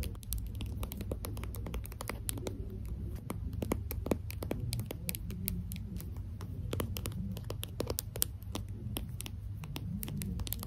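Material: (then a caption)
Plastic. A small translucent pink plastic lip gloss tube with its cap is held in both hands and tapped and scratched with long green acrylic nails. Rapid, dense, sharp clicks and light scratching patter on steadily, each very short, over a constant low hum.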